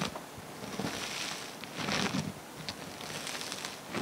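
Fingers squeeze, press and spread a flattened mass of multicolored foam bead slime on a table. It makes a steady, bright crackling and popping with soft squishy swells, loudest in the middle of the clip.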